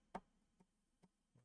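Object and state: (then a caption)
Loose acoustic guitar pickup part. A part of a Fishman acoustic guitar pickup system is tapped during installation, giving four short, dry ticking taps, the first one loudest, with almost no ring. The taps sound loose because the part is not going in all the way.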